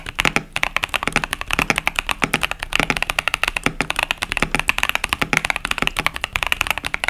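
Fingertips of both hands type steadily on a compact KBD67 Lite mechanical keyboard with a plastic case and plastic keycaps over Boba U4T tactile switches. The result is a fast, continuous stream of short, crisp, bright clacks with very little low-end thump, each keystroke dying away almost instantly.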